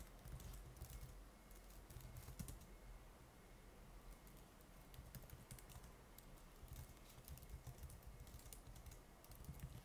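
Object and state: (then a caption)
Laptop keyboard typing. Fingertips type quickly and continuously on the plastic keys of a silver laptop keyboard. Steady, soft key taps run throughout as bright clicks over a low, dull thud and background rumble, with a faint steady tone near 2 kHz.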